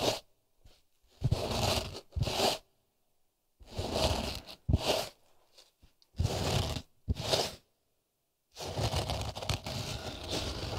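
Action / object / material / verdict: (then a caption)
scrape / polyester felt acoustic panel / polyester felt / none. Fingertips and nails rub and scratch the surface of a thin, solid grey polyester felt sound-absorbing panel held in both hands near the microphone. Short bursts of dry, crunchy scraping with a low rumble and bright hiss alternate with silent pauses, ending in a longer, continuous rub.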